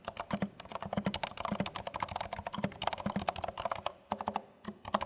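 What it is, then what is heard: Plastic mechanical keyboard being typed on. Both hands type continuously on a compact dark plastic HHKB Studio mechanical keyboard with plastic keycaps, fingertips tapping the keys. Quick, short clacks with a hollow low thock and a brighter click on top come in a steady stream, with one brief pause near the four-second mark before typing resumes.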